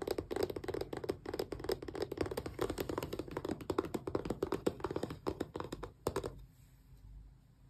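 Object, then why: Small closed cardboard box. Long press-on nails tap and scratch the sides of a small, closed, hollow cardboard Xbox controller box, held from the back. A rapid, uneven run of light clicky taps and scrapes with a papery, mid-range tone continues for about six seconds. The sound then stops, leaving faint quiet.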